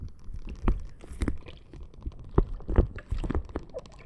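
A clear plastic bag full of red gel water beads is tapped, pressed and scratched with long nails. Soft, squishy crunches and dull taps come in an irregular stream, mostly low and muffled, with a few sharper clicks standing out.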